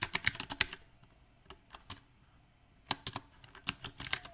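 Fingertips of both hands type on a compact backlit mechanical keyboard with round plastic typewriter-style keycaps. Bright, sharp clicks come in quick bursts, separated by short pauses and a few isolated taps. Each keystroke is crisp and dies away almost at once.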